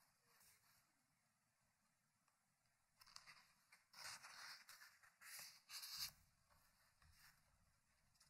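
Fingertips at the page edge turn the pages of an open, thick hardcover paper book resting on a wooden table. Soft papery rubs and flips start quietly, build into louder, bright, crisp rustling bursts through the middle of the clip, then fade back to gentle rubbing.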